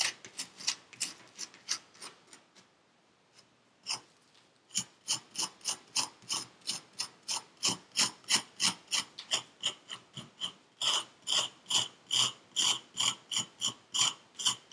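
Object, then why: Kinetic sand in a paper cup, scraped with a metal pick. A metal pick tool held in a gloved hand scrapes the surface of purple kinetic sand in a paper cup. Short, bright, crisp rasping strokes repeat at a quick pace, with a brief quiet pause early on before a steady, rhythmic run of scrapes continues to the end.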